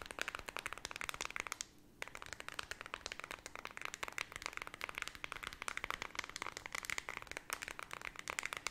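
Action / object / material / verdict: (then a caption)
tap / plastic remote control with rubber buttons / plastic / none. Long red nails quickly flick, tap and scratch the rubber buttons of a small, flat, white plastic LED remote control. A rapid, continuous stream of sharp, bright clicks and scratchy ticks runs throughout, pausing briefly into a soft hiss just before the two-second mark.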